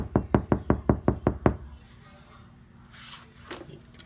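Eight quick knocks land on the same spot of a steel car passenger door that has KilMat sound-deadening mat inside it. Each is a dull, low thud that dies almost instantly, giving the door a solid sound. Low, quiet background sound follows, with a faint brief hiss and a soft click near the end.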